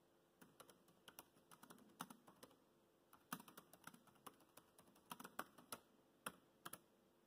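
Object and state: Plastic laptop keyboard being typed on.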